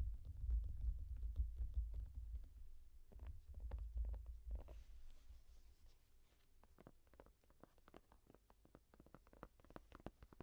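Long nails tap and scratch the textured surface of a yellow foam rubber case on the back of a small tablet held in both hands. The result is a quick, uneven run of soft, dull taps with a deep, rumbling low end and almost no brightness. The sound is louder and fuller for the first five seconds, then thins into lighter, sparser taps.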